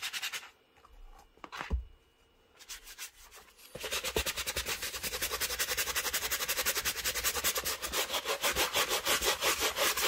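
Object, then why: Leather shoe scrubbed with a bristle brush. A black full-grain leather Birkenstock Mary Jane shoe, coated in soap lather and held in one hand, is scrubbed firmly with a wooden-handled bristle brush over the upper and the textured sole. A few quiet, scattered brush rubs give way after about four seconds to steady, rapid back-and-forth strokes, each a bright, dry scratch that continues to the end.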